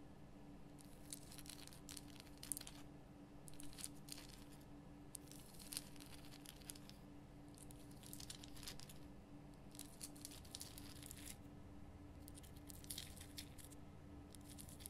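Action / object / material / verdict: scrape / rock-salt lamp / rock salt / none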